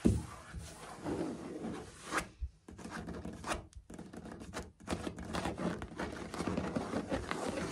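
Fingertips tap and scurry across solid, dark grey ceramic floor tiles with grout lines. The result is a steady run of soft scratchy rustling, dotted with light taps and dull low thumps, with brief quiet gaps in between.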